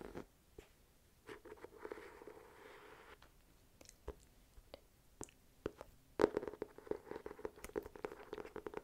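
An ornate, gold-patterned hardcover journal with a solid, embossed cover is held upright while long nails tap and scratch across the cover. Quiet, dry taps with a short hollow ring near 400–500 Hz alternate with soft rasping scratches. The tapping grows denser and louder in the second half.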